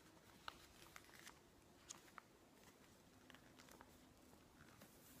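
Fingertips and long nails stroke and squeeze the pages of a thick, open glossy-paper interior design magazine lying on a wooden table, then turn them. Quiet papery rubbing and soft crinkling run throughout, broken by several brief, bright ticks and crisp page-flip rustles over a low, steady background hush.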